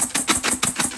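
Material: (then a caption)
Fried split peas. Fried split peas (dhal) in a tightly lidded container are shaken to mix in garlic, pepper and cilantro seasoning, giving repeated bright, dry rattling bursts with almost no low end. About six shakes are heard. The crunchy rattle shows the peas are fried crisp and dry.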